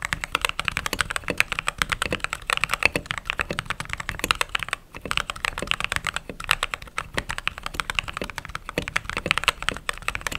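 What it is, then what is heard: Mechanical keyboard with plastic keycaps. Fingertips and long nails type steadily on a mechanical keyboard with white/cream plastic keycaps, producing a rapid stream of short, bright clacks with very little low end. The typing runs continuously for about ten seconds, with a brief pause near the middle.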